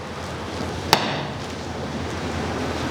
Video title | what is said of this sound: 풀스윙으로 유리에 돌을 던지면 생기는 일 (#windshield #exoshield #caution #코션 #코션코리아 #엑소쉴드 #광고) | 충격을 받았을 때 소리도 네. 약간 좀 다른 것 같아요. 턱 먹는 소리가 나요. 턱 먹는 소리가. 둔탁한 소리.